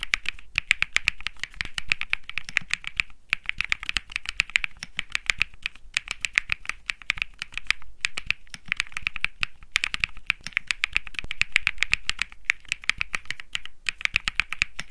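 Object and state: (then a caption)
Mechanical keyboard typing. Fingertips type rapidly on a compact 65% Think 6.5 mechanical keyboard with a PC plate, Bsun Lollipop switches, beige and grey plastic keycaps and a solid case, resting on a grey mat. A steady stream of short, crisp clacks centers around 2.3 kHz with bright edges. Each keystroke dies almost instantly, with only brief pauses between bursts.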